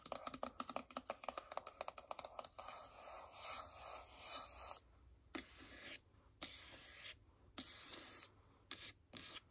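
A small, closed, hollow white printed paperboard iPhone box, possibly empty or holding the phone, is held in both hands and tapped and scratched with long acrylic nails. A quick run of crisp, bright clicking taps fills the first couple of seconds. It gives way to dry, hissy scratching strokes in separated bursts, with occasional sharp taps between them.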